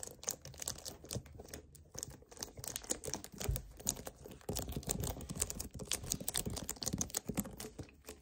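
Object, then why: Hollow plastic bottle. A hollow 1 L white plastic kefir bottle, held and tilted in the hands, is gripped, tapped and scratched by fingertips. Rapid crinkly plastic clicks and bright scratching textures run throughout, with soft hollow low thumps as it shifts in the grip.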